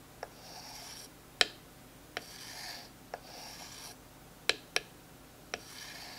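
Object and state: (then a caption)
Wooden stick rasped with a dowel. A smooth wooden dowel rubs and rasps along a thin, textured wooden stick held in the hand. Soft, bright rasping strokes alternate with several sharp, dry clicks that stop at once with no ring.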